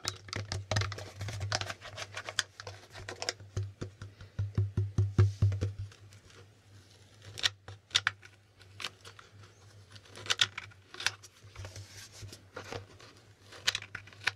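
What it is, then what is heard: Plastic game board tiles. Fingertips flip and tap the small plastic tiles at the top of a plastic Hangman board game held close. Quick, dry clicks and taps come in irregular bursts over a steady low hum, some sharp and bright, others soft patter.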